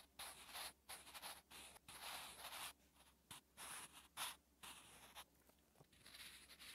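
A sharpened wooden pencil held by the fingertips scratches across a lined notebook page while writing. The result is soft, bright, papery strokes in short bursts separated by brief pauses.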